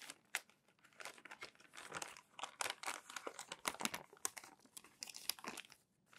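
Palms and fingertips with short nails rub and smooth crumpled thin glossy magazine pages flat, one by one, on a thick stack resting on a white desk, then flip each page over. The result is dense, dry crinkling and crackling, bright and sharp with almost no low end. Louder rustling bursts mark the page flips.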